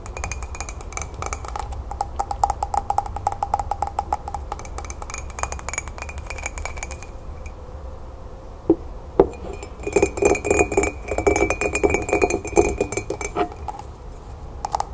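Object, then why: Ceramic mug. Long green nails tap rapidly on the side of a hollow, apparently empty green celadon ceramic mug with embossed flowers, held in the hands. The taps make dense, bright clicks with short ringing tones, ease off around the middle with a few louder isolated knocks, then pick up into fast tapping again over a steady low hum.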